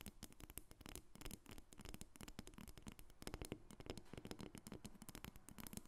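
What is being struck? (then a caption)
Carved wooden dolphin figurine. A solid carved dark wood dolphin figurine lying on a table is tapped and scratched with long red acrylic nails from both hands. Many quick, dry taps with almost no ring mix with soft scratching in a steady, busy flurry.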